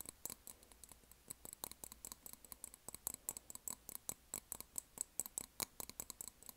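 A large white printed glass candle jar with a black lid, filled with wax and held in both hands, is tapped on its sides with long nails. About 33 quick, quiet, dry clicks come in an irregular rhythm, each bright with a faint high glassy ping that stops almost at once.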